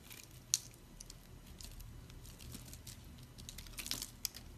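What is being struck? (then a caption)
Soap bar scraped with a blade. A metal blade scrapes and chips small cubes off a solid, oval, pink dried soap bar that is pre-scored in a grid and held in the hand, and crumbs fall away. The sound is a quiet, dry, bright crackling and crunching with brief scraping rustles. A few sharper snaps stand out, near the start and toward the end.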